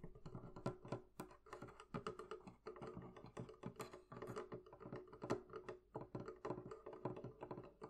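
Long nails tap quickly on the wooden lid near the right end of a hollow, closed wooden barrel-shaped chest. The result is a steady run of soft, short, hollow knocks with a woody resonance and brief clicks of nail on wood.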